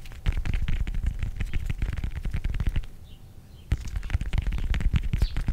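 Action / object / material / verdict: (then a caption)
scrape / whole fresh orange / orange peel / none. Fingernails scratch and tap the textured peel of a whole fresh orange, palm-sized and solid, held in both hands. A dense stream of quick, dull, low-heavy taps and scratches fills the clip, falls to a near-silent pause just after the midpoint, then resumes as sharply as before.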